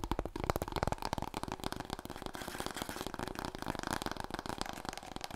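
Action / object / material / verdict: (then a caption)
tap / long cardboard tube / cardboard / none. Long nails tap quickly and scratch along a large, long, hollow, empty brown cardboard paper roll core held horizontally. The result is a rapid, dense stream of dry, hollow taps with a low resonant body, mixed with papery scratching that fills in the gaps.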